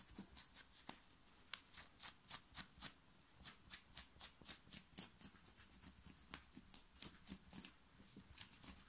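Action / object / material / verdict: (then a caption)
scrape / knit cotton t-shirt / cotton / none. Long fingernails scratch and rub a plain black round-neck knit cotton t-shirt worn on the chest. About 22 fast, uneven, bright scratchy strokes rasp across the fabric, each dying away at once over a faint low rumble.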